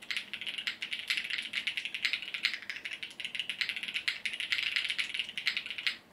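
A compact Sunset 80 mechanical keyboard with multicolored plastic keycaps, resting on a desk mat, is typed on continuously with the fingertips of both hands. It gives a fast, steady stream of sharp, bright plastic clacks with very short decay and almost no low end.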